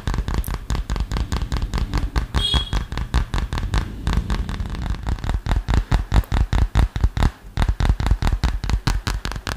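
A hand-sized, flat, solid smartphone in a dark green plastic or silicone case, held close to the microphone, is tapped quickly with fingertips and short nails. It makes a fast, somewhat uneven stream of about 43 short, dry, dull taps, heavy in the low end with almost no ring. One brief, brighter scrape or squeak stands out near the middle.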